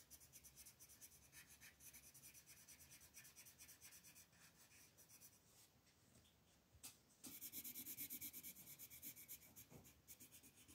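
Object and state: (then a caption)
Colored pencil shading on paper. A dark green wooden colored pencil is rubbed quickly back and forth over a flat printed paper coloring sheet on a table to fill in leaves. It makes a rapid, scratchy shading sound that is bright and high. The strokes soften and thin out briefly, then return louder and brighter.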